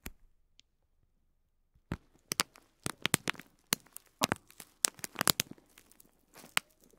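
A single fingertip taps and presses along a bundle of small white plastic faux pearl beads wrapped in clear film. After a near-silent opening with a faint tick, about fifteen sharp, bright crinkly clicks and crackles follow from about two seconds on. Each dies away almost instantly, with a light crackle of film between them.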